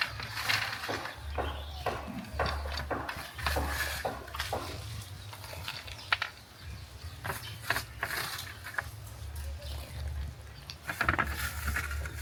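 Peanuts coated in flour and egg and fried in groundnut oil clatter and rattle like dropped coins as they are stirred or poured, with many short, bright clicks over a low rumble. The coated peanuts are crunchy.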